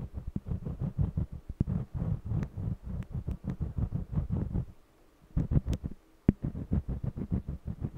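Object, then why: Wax crayon on stretched cotton canvas. A yellow jumbo wax crayon held in the fingers colors the surface of a small stretched cotton canvas panel with scratchy strokes. The strokes come as a rapid run of low, thumping, drum-like scrapes with brief bright clicks, broken by two short pauses before the rhythm resumes.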